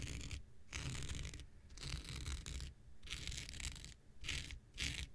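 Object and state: Synthetic fiber scouring pad being scratched.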